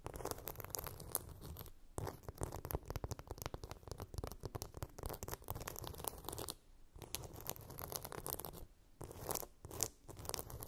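A hand-sized, flat blue phone case with a chunky glitter coating is scratched across its rough glitter surface with long nails. Dense, crackly scratching bursts run through most of the clip, with brief quiet pauses around 2, 6.5 and 9 seconds.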